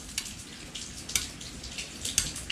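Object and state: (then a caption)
Engine valves with proper clearance (loose). Steel tappet valves on a GY6-type four-stroke scooter engine tap as the valvetrain is worked after adjustment. The clip has faint, sharp, high-pitched metallic ticks over a low, quiet background. Both valves are loose with proper clearance, no longer too tight, and set to spec.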